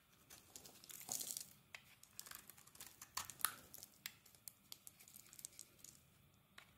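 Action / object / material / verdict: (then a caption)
scrape / translucent glycerin soap bar / glycerin soap / none. A metal blade scrapes flakes off a solid translucent glycerin soap bar with a yellow coating, held in the hand. A quick, irregular run of short, dry, crinkly scrapes sounds bright and crisp, with almost no low end. A denser burst of shaving comes near the start, then sharper single strokes follow and fade into quiet.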